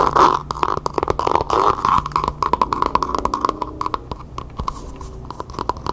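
Long painted nails scratch and tap quickly across the outer surface of a small, hollow, empty pencil cup covered in map-printed faux leather, held upside down. The result is a dense run of dry, crisp taps and scratchy rasps with a steady midrange tone around 1 kHz. Each tap dies away almost instantly.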